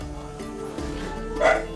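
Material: Nothing is struck.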